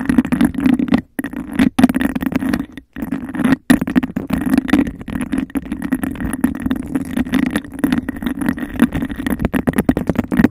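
Long nails tap and scratch fast on the sides of a clear, bubble-textured glass cup that sits hollow and empty over the microphone. A dense, continuous stream of quick clicks and scrapes carries a hollow, boomy resonance around 250 Hz. The stream breaks into brief silences a few times in the first four seconds before running on steadily.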